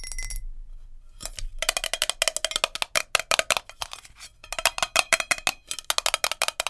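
Long nails tap fast and hard on a glass jar with a lid, making quick, bright clinking hits with a faint ringing tone. The taps come in rapid bursts after a short pause near the start, each dying away almost instantly.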